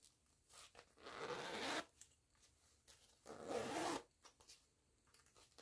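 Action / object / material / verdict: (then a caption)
scrape / canvas pouch with nylon zipper / nylon, canvas / none. Fingers with long nails work the green nylon zipper on a small floral canvas pouch, pulling it in two long, rasping zips. Between the zips come light clicks and rubbing along the zipper teeth. The sound is bright and dry.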